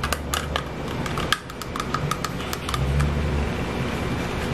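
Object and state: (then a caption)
Plastic makeup compact. A small black plastic blush compact with a clear plastic hinged lid is held in the hands and handled with fingertips and nails, tapping the case and opening and closing the lid. A quick series of sharp, light clicks and taps rings out over a steady low background hum.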